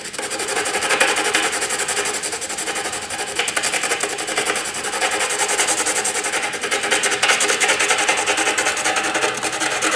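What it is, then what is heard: Pencil shading on drawing paper. A hand-held black graphite pencil scratches across a flat white drawing paper sheet in broad, sweeping shading strokes. The result is a continuous, dry, bright rasping with a steady rhythm of repeated strokes and almost no low end.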